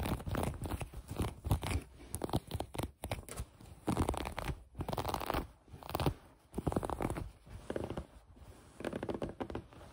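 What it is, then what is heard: Fleece sweatpants scratched with nails. Long nails scratch a mint green fleece pair of sweatpants with a drawstring and gathered waistband, making dense, soft scratching and crunchy rasping in repeated bursts. The sound is mostly low and muffled, with little high end.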